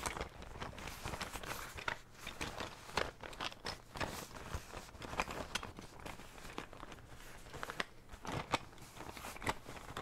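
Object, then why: Fabric zippered pencil case. Fingertips and nails tap and scratch the surface of a cylindrical blue printed fabric pencil case with a zipper, held in both hands, its contents unseen. Quiet, dry crinkling and scratching fill the clip, broken by many short, sharp taps with bright edges that die away almost instantly.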